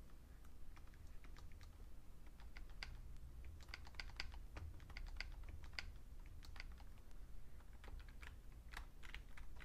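Fingertips type on a vintage beige plastic full-size Fujitsu Siemens keyboard, including the shift and right-side keys. Quick, dry, bright key clicks patter unevenly over a steady low rumble, and each tap dies away almost at once.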